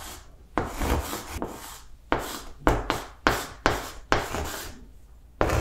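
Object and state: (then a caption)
Chalk writing on a blackboard. Blue chalk writes words on a large flat green blackboard, making scratchy, rubbing strokes. About nine distinct strokes start sharply with a dry, gritty scrape and trail off quickly, separated by brief pauses.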